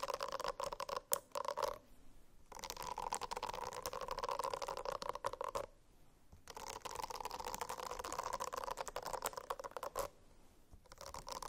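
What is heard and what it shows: Fingernails scratch across a silicone-covered notebook in steady, raspy strokes with a mid-pitched hum around 500 Hz to 1 kHz, broken by a few sharp clicks at the start. The scratching runs in three passages separated by brief pauses.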